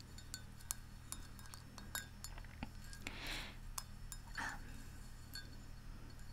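Long nails tap the rim of a large, white, hollow ceramic Central Perk mug filled with tea, making a quiet series of short, bright clinks that fade almost instantly. Two brief, breathy swells of higher-pitched noise rise near the middle, over a steady low hum.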